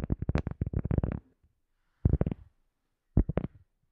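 A round cork coaster disc, held in both hands, is tapped with long nails. A rapid run of dull, low, muffled taps fills the first second, followed by two shorter bursts of taps after pauses. Each tap is dry and dies away almost instantly.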